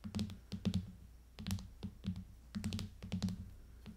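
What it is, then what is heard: Plastic case on a tablet, tapped with fingernails. Long painted fingernails of both hands rapidly tap the back of a rose-gold aluminium iPad in a clear hard plastic case lying flat on a table. The taps come in quick clustered bursts of short, dry clicks with a hollow low thump under bright clicky tips, each dying away almost at once.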